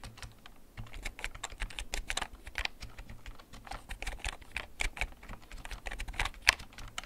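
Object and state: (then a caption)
Plastic mechanical keyboard being typed on. Fingertips press the keys of a black plastic backlit mechanical gaming keyboard held at angles, typing at a steady, slow pace. Each keystroke is a short, bright click with a dull low thud beneath it, over a faint low hum. A few keys near the end land slightly louder.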